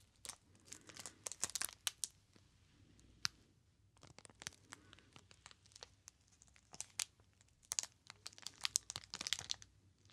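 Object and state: Cellophane-wrapped soap bar.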